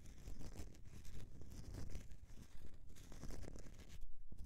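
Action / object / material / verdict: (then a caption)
scrape / bar of soap / soap / none. Fingernails scratch the scored surface of a solid bar of soap held in the hand. The result is a quiet, continuous rough scratching with irregular strokes, mostly dull low rumble topped by bright, airy rasps.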